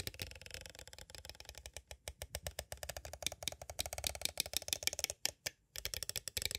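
Two thin striped sticks tap and rattle against the sides of a small, hollow, clear plastic cassette case held upright with a Mozart tape inside. The result is a rapid, uneven stream of dry, bright clicks with almost no ring, briefly pausing near the end before resuming.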